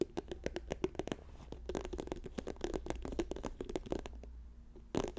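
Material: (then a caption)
Plastic. Fingertips and nails fast-tap an orange plastic squeeze tube lying on a fur rug, giving a quick run of dry, hollow clicks with a low body around 360 Hz and bright tips. The taps come in dense bursts over a faint steady low hum, easing off briefly near the end before a final cluster.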